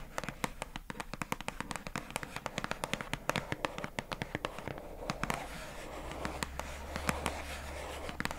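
A hollow pink plastic squishy storage box with a paper label on the front, held in both hands, is tapped and scratched on the label with long acrylic nails. A steady stream of sharp, bright clicking taps runs throughout, each dying away quickly. In the second half, a rougher scratching texture and a low hum rise beneath the taps.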